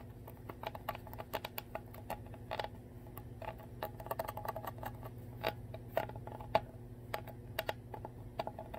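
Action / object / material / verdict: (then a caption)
tap / plastic water bottle bottom / plastic / none. The ridged, clear plastic bottom of a full Core water bottle, held upside down, is tapped and scratched with long nails. A steady stream of quick, light, clicky taps with a faint ring around 660 Hz mixes with soft scratching over a constant low hum.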